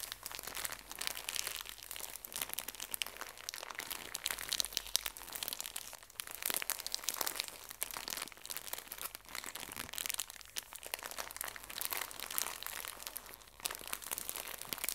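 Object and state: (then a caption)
Plastic-wrapped tissue pack, crinkled. A full pocket tissue pack in thin plastic wrap is squeezed and crinkled by fingertips with long nails. The result is a continuous, bright plastic crinkling with dense crackles and crunches throughout, and almost no low end.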